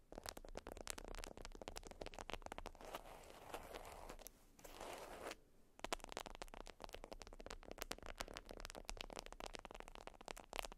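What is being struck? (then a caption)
Beeswax-coated cotton wrap. Long acrylic nails scratch and tap a flat, folded beeswax wrap (wax-coated cotton), making a dense run of quiet, crackly clicks and crinkles. Around the middle the clicks give way to a softer, hissing scratch with a brief near-silent gap, then the rapid tapping resumes to the end.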